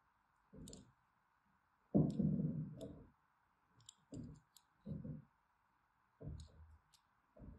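A thin metal blade scores crisscross lines into a solid orange and white striped bar of soap held in the hand. Short, irregular bursts of soft, low scratching and carving are heard, with faint bright crackles at the edges of some strokes. A steady faint hiss runs underneath throughout.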